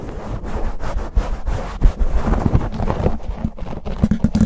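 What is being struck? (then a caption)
Foam microphone windscreen. Fingertips and nails of both hands scratch and rub fast on a black foam windscreen covering a silver condenser microphone. The result is a dense, muffled, low rumbling crackle with irregular thumping bursts and almost no high content.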